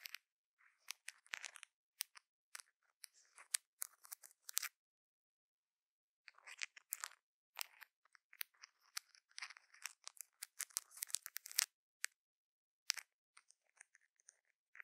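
A thin metal stick, held in fingers with long nails, scratches and taps across a dome-shaped rhinestone-encrusted cover over a microphone. Dense bursts of sharp, bright clicks and scraping ticks come in quick clusters, with a gap of near silence around the middle. Each hit dies away instantly with no low end.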